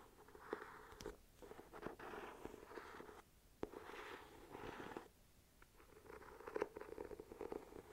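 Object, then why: Hardcover journal, embossed cover. An ornate, gold-patterned, solid hardcover journal with an embossed cover is held upright while fingernails scratch and tap across the cover. Soft, close scratching textures in the low-mid range are broken by short, crisp taps with almost no ring.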